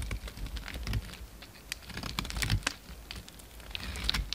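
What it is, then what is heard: Bar of soap being scraped with a blade. A utility knife blade shaves and scrapes a solid piece of cream-colored soap carved to a narrow shape. Soft, crackly scraping comes in irregular bursts of dry ticks and brief bright scratches over a faint low rumble, each sound stopping almost instantly.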